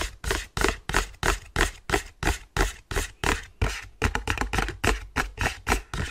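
An empty white cardboard sleeve with a window cutout is held in both hands and rubbed and flexed slightly with the fingers. It gives about 22 quick, papery rasps, each with a dull low thump under a bright crackly hiss. The rasps come at a steady pace, then speed up into a tighter, busier run near the end.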